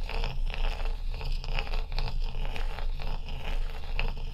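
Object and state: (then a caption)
Large ice block. A small piece of ice, held in fingers with long acrylic nails, is scraped and rubbed across the frosty surface of a large, solid, dome-shaped ice block lying on a dark towel. It makes a continuous gritty scraping with quick, bright crunchy rasps repeating at an uneven rhythm, over a steady low rumble.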